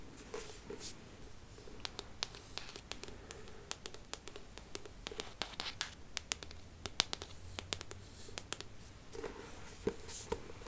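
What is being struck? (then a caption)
Hardcover book, cardboard cover. Long manicured nails tap and scratch the embossed cardboard cover of a large, solid, closed hardcover book, "The Art of Mixology," held upright in both hands. Quiet, bright clicking taps land irregularly over a soft, steady scratching texture. Each tap is short and dry, with no ring after it.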